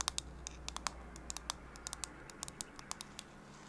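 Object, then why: Plastic phone case. Long pink nails tap and scratch the flat back of a pink and white cow-print plastic phone case with a milk design, held in one hand, while a nearby microphone is left untouched. About 19 quick, bright, crisp clicks land at an irregular pace over a soft scratchy hiss and a faint low hum, each tap dying away almost instantly.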